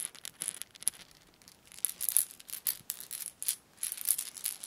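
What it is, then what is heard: Plastic rattle ball. A yellow hollow lattice plastic baby ball with a small rattle inside is held up in one hand and shaken. It gives a quiet series of quick, dry, bright rattling bursts with almost no low end, each clatter cutting off quickly, with brief pauses between the shakes.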